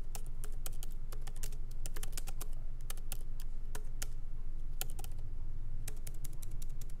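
Both hands type lightly with the fingertips on a MacBook Pro laptop keyboard, plastic keycaps set in an aluminum body, resting on a wooden desk. Quick, bright key clicks come in an uneven rhythm over a steady low hum.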